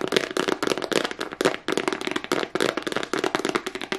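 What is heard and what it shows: Long nails tap and scratch fast across a small, hollow black hard plastic case with a price sticker on it. The result is a rapid, dense run of sharp, dry clicks and scrapes with a hollow tone around 400 Hz and bright upper edges, each hit dying away almost at once.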